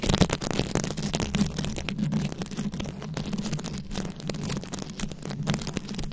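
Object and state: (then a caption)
Rhinestone-covered microphone scratched with nails. Very long acrylic nails scratch a round, fist-sized microphone head covered in plastic rhinestones and beads. The result is a dense, continuous crackling scratch with rapid clicky texture over a heavy low rumble and a steady hum near 190 Hz, and the level stays fairly even throughout.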